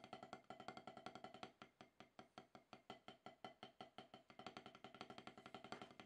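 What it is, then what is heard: Rubber drum practice pad. Wooden drumsticks tap alternately on a solid octagonal HQ rubber-top snare practice pad. The dry, woody clicks have a short ring centered around 730 Hz. Faster runs of strokes at the start and end frame a slower, steadier stretch in the middle.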